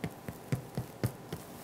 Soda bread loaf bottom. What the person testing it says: you hear that hollow sound